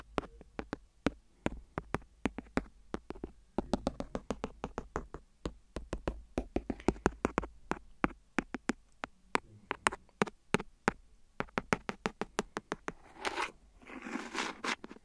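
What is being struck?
Thin silicone phone case.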